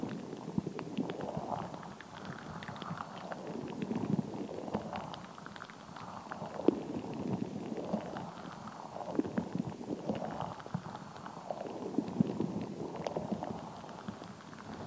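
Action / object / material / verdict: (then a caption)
scrape / rubber squishy ball filled with water gel beads / rubber / none. A palm-sized translucent rubber stress ball full of water gel beads is held and squished with the fingertips while long nails tap and scratch its surface. Soft, wet squelching swells and fades in slow repeating waves, sprinkled with short sharp clicks and ticks from the nails. The sound sits mostly in the low and middle range, with only faint high detail.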